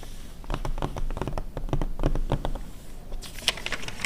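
Long red nails tap and scratch quickly on the glossy pages of an open 2009 car magazine, and one page turns. Dense, uneven clicks and short scratchy strokes fill the clip, and a brighter rustle near the end marks the page turn.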